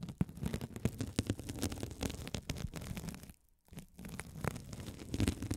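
A gold metal spiked roller is rolled and scratched across a hand-sized blue sponge with a sparkly woven mesh cover, soft and solid, held over the mics. It makes a dense, low, crackling scrape of rapid small clicks and rustles, with a brief quiet gap just past the midpoint before the scratching picks back up.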